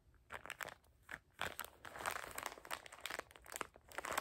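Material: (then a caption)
Plastic film. Fingertips squeeze and crinkle a small soft packet of paper tissues in printed plastic wrap with a "dream BIG" label, rubbing the plastic film. It makes irregular bursts of crisp, bright crinkling and crunching with almost no low end, growing denser and louder toward the end.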